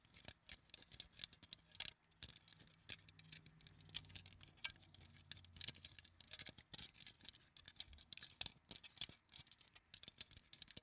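A small translucent pink plastic flower claw clip, held in front of a microphone, is tapped rapidly with the fingertips of long acrylic nails. The result is a quiet, steady patter of bright, dry plastic clicks centered around 3.5 kHz, each dying away almost instantly, with a faint low hum underneath in the middle of the clip.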